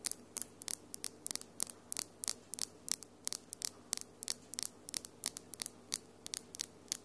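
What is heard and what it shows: Long, small, hard, solid glitter acrylic nails tap against each other quickly with the fingertips interlaced. About 29 sharp, bright clicks follow one another with almost no ring, over a faint low hum.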